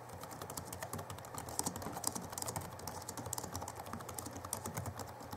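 Both hands type rapidly with their fingertips on the backlit chiclet keyboard of a 2011 Alienware M11x R2 laptop with plastic keys. A steady, dense stream of short, dry key taps sounds, each a bright click over a soft low thud, with quick bursts and uneven rhythm at a fairly quiet level.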